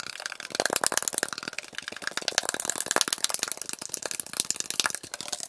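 A metal Arizona iced tea can is tapped and scratched rapidly, with the audio played at double speed. It gives a dense, fast stream of sharp, bright clicks and scrapes with almost no low end, and each tap dies away instantly.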